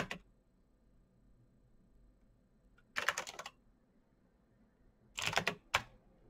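Fingertips type slowly on a black Razer BlackWidow mechanical keyboard with plastic keycaps on clicky green switches. Short bursts of sharp, bright clicks sound at the start, around three seconds and again near the end, with quiet pauses between them. Each keystroke is crisp and dies away almost at once.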